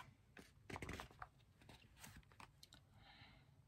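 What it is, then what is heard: Paperback book, tapped and handled. Fingertips tap the glossy cardboard cover of a small, old, solid 1970 paperback copy of "Are You There God? It's Me, Margaret." The book is then opened and handled, its paper pages flipped and riffled. The result is a quiet series of soft, dry taps and papery rustles with brief, bright flicks.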